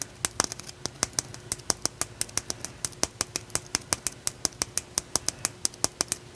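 A solid, rough raw blue calcite chunk held in one hand is tapped with the nails and fingertips of the other hand, giving about forty sharp, bright clicks in a quick, steady rhythm over six seconds. Each tap is dry and short with almost no ring, over a faint, steady low background.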